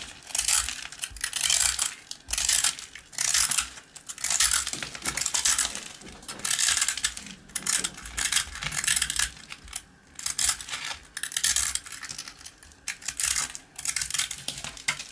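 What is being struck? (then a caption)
Rusk (twice-baked bread). A small piece of hard, dry, porous rusk (twice-baked bread), held between the fingers, is scraped and cut with the metal blade of a blue-handled utility knife. The result is bright, dry, crackling scraping in repeated bursts, with crumbs falling onto a pile of rusk crumbs.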